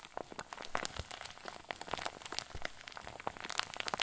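A hand-sized clear plastic zip bag, stuffed full with white fluffy filling, is cupped in both hands and squeezed with fingers and thumbs. It gives a steady run of soft, dense crinkles and quick bright crackles, each snapping off almost instantly, with little low end beneath.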